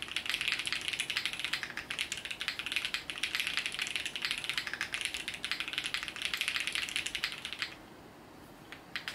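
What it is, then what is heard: Mechanical keyboard with plastic keycaps. A compact mechanical keyboard with multicolored plastic keycaps is typed on continuously with the fingertips of both hands. It gives a dense run of bright, sharp clicks that stops near the end, leaving a few last isolated taps.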